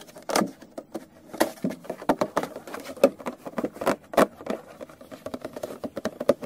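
A small, hollow, clear plastic retail case holding a yellow product box is held in the hand and tapped rapidly with fingertips and nails. Quick, dry, patter-like taps with a hollow plastic tone centered around 555 Hz. Each tap dies away almost instantly.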